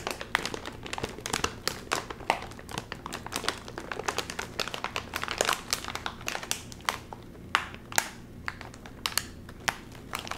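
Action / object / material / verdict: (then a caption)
scrape / metallized plastic chip bag / metallized plastic / none. A hand-sized red and white sealed metallized plastic chip bag, full of chips, is held in both hands and crinkled while fingertips pull at its top seal. Dense, bright crinkles and crackles come in quick clusters throughout, over a faint low hum. The seal does not open.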